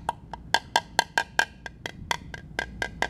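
A rectangular woven carbon fiber laminate block, apparently solid or core-filled and held by hand on a workbench, is tap-tested with a small metal tap-test hammer with a pointed aluminium head on a thin rod handle. Fourteen sharp, dry taps ring out at an uneven pace. Each is a bright click pitched near 900 Hz that dies away almost instantly.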